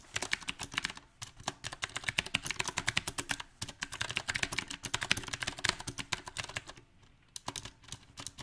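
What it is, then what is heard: Mechanical keyboard typing. Fingertips type on a mechanical keyboard with round plastic typewriter-style keycaps set on a silver metal frame. A fast, uneven stream of short, bright, crisp key taps comes with little low end, broken by brief pauses near one second and around seven seconds.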